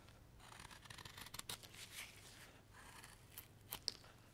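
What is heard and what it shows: A steel knife shaves the end grain of a solid, pale light-wood carving block held in a gloved hand, working in carving strokes. Quiet, dry, bright scraping and rasping cuts come in short bursts, with a few sharp, crisp ticks near the end and little low-end weight.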